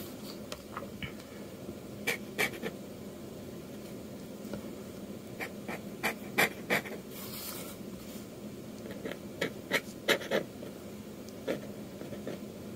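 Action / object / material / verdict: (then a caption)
scrape / metal dip-pen nib on a paper sheet / paper / none. A metal dip-pen nib scratches quick inking strokes across a flat sheet of manga manuscript paper. Short, bright, scratchy strokes come in irregular bursts over a steady low hiss, each fading almost instantly.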